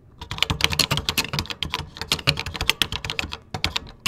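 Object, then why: Plastic computer keyboard keys. Fingertips type steadily on a vintage 1980s computer keyboard with cream plastic keycaps. The result is a rapid, uneven run of sharp, bright clicks with a light low thump under each keystroke, and each click stops dead with no ring.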